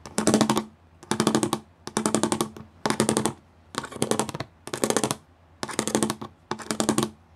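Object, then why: Plastic studded sheet. Fingers and nails tap quickly across a flat gray plastic sheet with raised studs. The sound comes in eight short bursts of rapid, bright, dry clicking, each with a faint hollow tone around 215 Hz. There are brief quiet pauses between the bursts.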